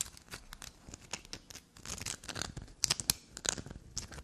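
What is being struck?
Bar of black soap.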